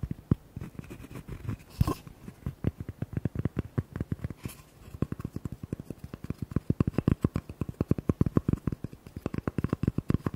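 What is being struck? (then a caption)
Cork coaster. A small, flat, rectangular cork coaster is held in the hands while fingertips and nails rapidly tap and scratch its cork surface. The result is a dense run of dull, low, dry taps with no ring, plus brief brighter scratching bursts near 2 and 4.5 seconds. The tapping eases off around the middle, then picks up louder and faster toward the end.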